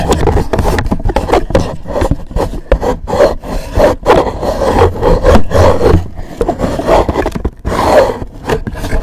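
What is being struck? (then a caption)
Rigid cardboard gift box. Fingertips and nails rub and scratch the surface and edges of a hollow, black rigid cardboard gift box with a gold logo. The result is a steady run of rough, dull scraping and rubbing strokes, heavy in low-end thump with almost no bright top. Each stroke is short and dies away at once.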